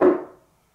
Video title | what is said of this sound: How To Combat Speaker Cabinet Resonances | it just continues to resonate and you can hear it throughout the room